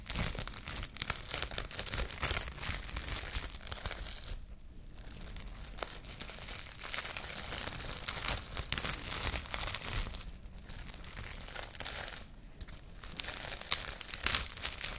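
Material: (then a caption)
Plastic film. A sheet of clear plastic cling film, pulled from a roll held in one hand, is stretched and crinkled with the fingers and nails of the other hand. It makes a dense, bright crackling and crinkling that runs almost continuously, broken by a few brief quieter pauses.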